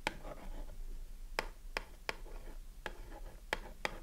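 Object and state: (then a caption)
Cardboard soap box. A long fingernail scratches and taps the printed front of a small cardboard Dove soap box held in the hand, with the bar inside. Seven sharp, dry, bright taps stand out over soft, papery scratching, each tap dying away almost at once.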